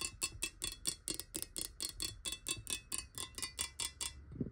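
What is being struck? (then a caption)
Glass water bottle. A clear glass water bottle lying on its side is tapped with long nail tips in a ticking rhythm, giving 21 quick, bright clicks at a slightly uneven pace. Each tap is very short and dry, with almost no ring.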